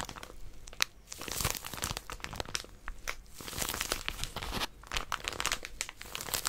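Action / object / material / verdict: scrape / plastic-wrapped paper packet / plastic film / none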